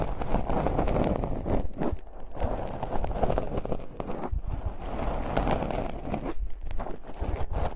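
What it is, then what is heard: Metal mesh microphone grille. Long nails tap and scratch the hollow, bare metal mesh ball grilles of two identical handheld-style condenser mics on stands, one hand on each mic, both at once. The result is a dense, continuous run of muffled scratching and quick tapping, heavy in the low end with little brightness, holding a fairly steady level with brief dips throughout.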